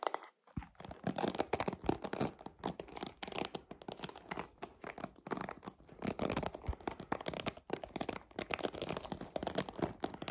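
Long nails tap the smooth, hollow back of a purple plastic paddle hairbrush, then the brush is flipped and the nails scratch across its plastic bristles. The result is a dense, dry stream of quick clicks and crackly, tearing-like scratches that spread from low to bright tones, with each sound stopping almost at once.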